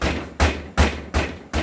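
A hard polymer airsoft rifle body is struck five times against a surface, giving dull, low thuds that fade quickly between strikes. The body comes through undamaged, with no chipping or scratching of the paint, unlike a full-metal body, which would be scratched and chipped.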